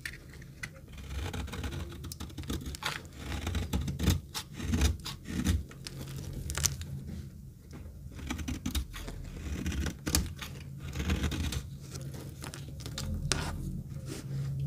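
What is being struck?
Bar of soap cut with a metal knife.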